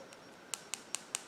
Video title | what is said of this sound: Modelones Travel Size Dip Powder Kit | you hear that click sound when you tap it